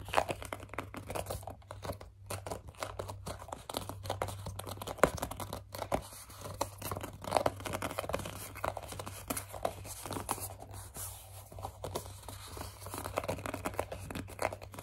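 Long dark nails grip, scratch and squeeze a hollow white plastic CeraVe facial cleanser pump bottle with a teal accent. The result is a dense run of squeaky rubs, crinkly scrapes and small taps over a steady low hum.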